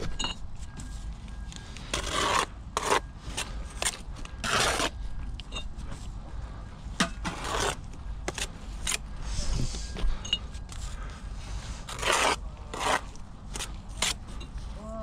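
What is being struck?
Perforated clay brick and mortar worked with a steel trowel.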